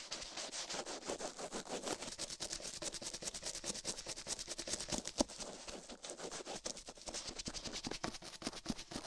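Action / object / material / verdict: scrape / silicone microphone ear brushed with a plastic toothbrush / silicone / none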